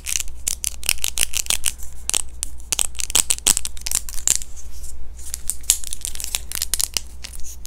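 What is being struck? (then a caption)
Thin clear plastic dental aligner. A small, thin, hollow clear plastic dental aligner is held up in both hands and scratched and tapped with long fingernails. Rapid, sharp, high-pitched clicks and scratchy ticks come in quick bursts over a steady low hum.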